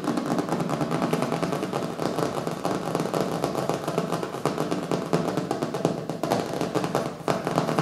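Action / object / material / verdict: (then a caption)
tap / hardcover book / paper and board / none. Fingertips and nails of both hands tap fast on the colorful printed cover of a small, solid hardcover book lying on a wooden table. The result is a dense, continuous patter of short, dull knocks with a low-mid hollow tone, quick decay, and little brightness, keeping a steady level with only brief dips.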